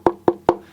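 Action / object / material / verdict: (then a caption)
tap / semi-hollow electric guitar body, maple top / maple wood / hollow. Three quick taps on the maple top of a Bell Aurora semi-hollow electric guitar, over a section past the bridge where the center block ends. Each tap gives a short, hollow, woody knock centered around 350 Hz that dies away almost at once, confirming the body is all hollow there.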